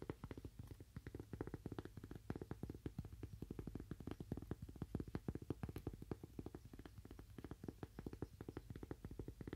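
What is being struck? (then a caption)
Thin cork coaster. A thin, solid, toast-shaped cork coaster held in one hand is tapped quickly with fingernails on its face and edge. The result is a steady, rapid stream of dry, muted clicks with a soft, low body and almost no ring.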